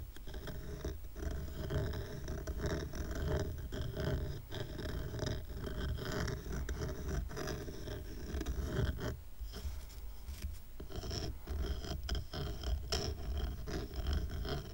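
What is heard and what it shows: Fingernails scratch along the layered side edges of a small stack of dark, rough, solid wooden coasters tied with twine. The result is a steady, dense, dry scraping texture, weighted toward low frequencies, with quick clicks and flicks throughout and a brief softer dip near the middle.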